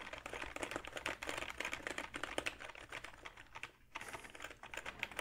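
Fingertips type on a hollow, backlit plastic gaming keyboard with plastic keys, held up in the air. A rapid, uneven run of bright, clicky keystrokes with a short pause near the four-second mark before the tapping resumes.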